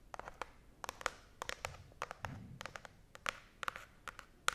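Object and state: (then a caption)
Cardboard box. Long nails scratch and tap along the sides of a small, hollow brown cardboard box held close to the face and microphone. The result is a quick, uneven string of short, dry clicks with a bright edge and almost no ring, alongside a faint, soft, low scraping between them.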